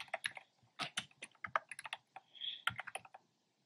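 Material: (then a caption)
Plastic. Fingertips with short nails tap the hollow, round retro-style plastic keycaps in cream, pink and red on a black plastic keyboard. About seventeen quick, bright, hollow clacks come in uneven bursts, each dying almost instantly with no low thump. A softer, smeared brushing tap sits in a short pause near the middle.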